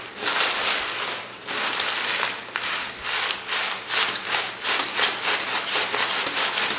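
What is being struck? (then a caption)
Thin kraft paper sheets. Fingers with painted nails squeeze and crumple large, thin, empty sheets of brown kraft paper held in both hands above a wooden table. A dense, bright crinkling and rubbing rustle comes in swelling bursts with no low end. It fades briefly between surges and continues throughout.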